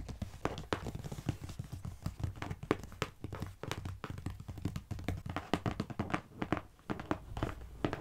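Long painted nails and the fingertips of both hands tap rapidly on a medium, closed, hollow brown corrugated cardboard box lying on a carpet. The steady flurry of taps gives dull, hollow low thumps with sharp clicky edges, and each tap dies away almost instantly.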